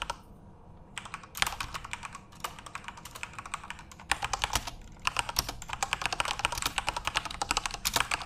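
Fingertips type on a full-size, RGB-backlit Corsair mechanical keyboard with plastic keycaps. After a near-silent first second, bright, sharp clacks start in scattered bursts and settle into fast, steady typing over the last few seconds. Each keystroke is short and dry with almost no ring.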